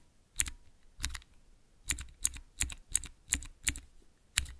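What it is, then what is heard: Plastic key switch tester. Fingertips press the keys of a small clear plastic 3x3 Cherry MX mechanical key switch tester, making nine separate, unevenly spaced presses. Each one is a sharp, bright click over a soft low thud, and it dies away almost at once.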